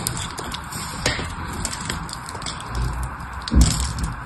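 A blade carves and scrapes along the edges of a solid blue bar of soap held in the hand, making a steady, gritty scraping with small crackles and soft ticks. Pieces break off, and a heavier, dull crunch stands out near the end.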